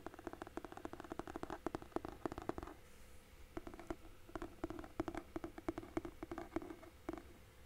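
Fingertips and nails rapidly tap and scratch along the cover and spine edge of a large hardcover book with a red cloth-and-paper cover and a solid paper block, held upright in both hands. The taps are soft, dull and low-mid in tone, each dying away almost instantly, with scratchy brushing between them. The tapping pauses briefly around the three-second mark, then resumes in uneven bursts.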